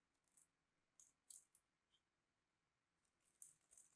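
A small metal blade cuts a crosshatch into a solid, palm-sized purple bar of soap held in the hand and scrapes off small soap cubes. Quiet, bright, crisp scraping and crumbling ticks come in an irregular series of short bursts with almost no low end.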